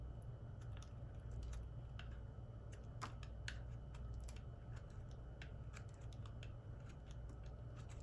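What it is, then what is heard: Bar of soap being cut. A solid white oval soap bar held in the hand is sliced with a metal utility knife blade, curling off shavings. Quiet, crisp scraping clicks repeat throughout over a steady low hum.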